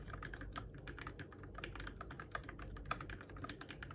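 Fingertips type quickly on the plastic keycaps and switches of a Keychron K6 compact RGB-backlit mechanical keyboard in the dark. The result is a steady stream of crisp clacks with a mid-pitched click over a low background rumble, with a few sharper, louder key strikes standing out near the middle and toward the end.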